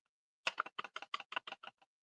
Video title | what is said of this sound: Tactical Tuesdays with EDCwithDBD! Are YOU ready to get Tactical AF? | I have a little bit of sheath rattle